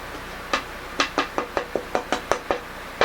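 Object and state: Dense, bright-sounding sapele tonewood.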